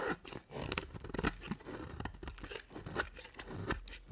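A hand with long nails holds a solid white bar of dry soap with a dark coated edge and shaves it with a box-cutter blade. Repeated short, dry, crunchy scraping strokes follow one another quickly, each cut giving a brittle crackle with little ring.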